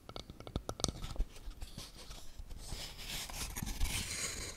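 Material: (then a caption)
Wood. A small, hollow, camera-shaped wooden toy box with a burnt finish and wooden dials is held in both hands and tapped and scratched with long painted nails. Quick, dry taps with a soft low thump come first, then the nails scrape steadily across the wood, building into a bright, rasping hiss that fills the end of the clip.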